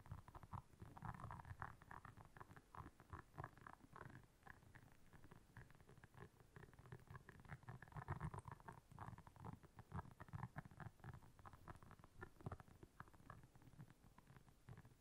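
Long nails scratch and tap across the soft bristles of a round, flat, blue solid silicone scrubber lying on black fur. The result is a dense, continuous stream of soft, muffled scratching with a low rumbling character and a mid-range rasp that swells and fades in waves.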